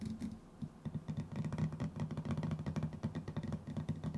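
A small, round metal tin with a white lid, likely hollow, is held in one hand while the fingertips and nails of the other tap quickly on its lid. The result is a steady run of soft, dull, low-pitched knocks that die away almost at once, with faint bright clicks from the nails.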